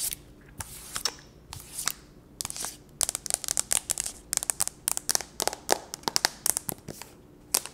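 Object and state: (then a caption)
Aluminium tablet back tapped with nails. Long nails tap and scratch the gold aluminum back and edges of a thin, solid tablet with a glass front, held in one hand. The result is a quick, irregular run of dozens of sharp, bright clicks with dry scratching in between, each tap dying away almost instantly with no ring.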